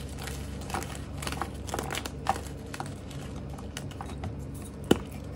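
A small solid block of purple-pastel dyed gym chalk (magnesium carbonate) is squeezed and crumbled by bare fingers over a pile of chalk powder. Soft, irregular crinkling crunches run throughout, with a few sharper snaps and one loud crack near the end. The block breaks apart into chunks and powder.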